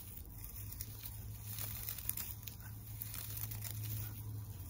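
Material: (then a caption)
Tinsel. Long nails scratch and crinkle the pink and white tinsel on the face of a flat tinsel teddy bear decoration on a wire frame. The result is a soft, continuous crinkling and rustling with bright, crisp edges over a steady low hum.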